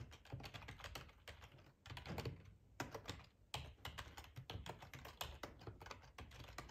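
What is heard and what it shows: Fingertips type on a black plastic ergonomic split keyboard with a hollow housing, resting on a cloth tablecloth. Quick, clacky keystrokes with a low, hollow thud and bright clicks fall in a steady stream, each dying away almost at once. There are a couple of brief pauses in the flow.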